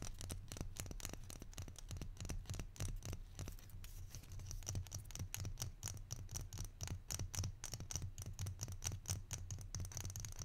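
A small, hollow, barrel-shaped wooden salt shaker with copper-coloured bands is held in one hand and tapped and scratched with the fingertips and short nails of the other. It gives a quiet, steady stream of quick, dry taps with a low, hollow thump, and bright scratchy clicks that die away almost at once.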